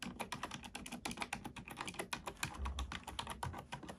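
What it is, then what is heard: Plastic computer keyboard being typed on. Both hands type steadily on a black plastic computer keyboard with fingertips and nails, producing a rapid stream of sharp, bright clicks and clacks. Low thuds sit under the clicks, and each keystroke dies away quickly.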